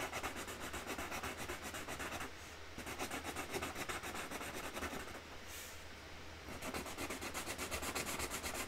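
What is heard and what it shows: A hand rubs the nib of a dark Sharpie marker over a printed flower outline on a large, flat cardboard box lid, colouring it in with quick strokes. The result is a steady, scratchy rasping of about four strokes per second with a bright, papery hiss. The sound briefly softens in two short pauses before the rubbing resumes.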